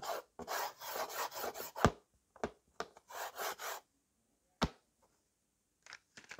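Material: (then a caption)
Slate. A white slate pencil held in the fingers is rubbed and scratched back and forth across a small slate writing board with a yellow frame. Bursts of dry, gritty scratching strokes alternate with brief pauses, punctuated by a few sharp, clicking taps. Softer, lighter scrapes follow near the end.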